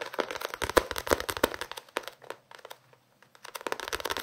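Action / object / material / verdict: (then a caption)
tap / paperback book with paper pages and card cover / paper / none. A small paperback novel with a paper and card cover is held up and tapped and scratched with fingertips and nails. Quick, irregular dry taps and crinkly scratching with a papery, mid-pitched body, fading to near silence around the three-second mark before resuming.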